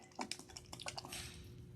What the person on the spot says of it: if you can't hear it shake it's not right